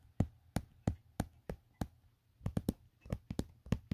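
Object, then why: Empty plastic phone case. Fingertips tap around the back, camera cutout and edge of an empty, hollow black plastic Otterbox phone case. Fourteen dull, low, hollow knocks die out almost instantly. They come evenly spaced at first, then in quicker clusters toward the end.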